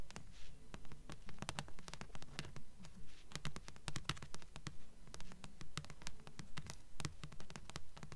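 Long nails tap and scratch the glossy front cover of a thick blue paperback of solid paper, held upright in both hands. Quick, sharp taps fall in a steady rhythm of about two per second, each a bright click over a dull, low papery thud that dies away almost at once. Soft scratching fills the gaps between them.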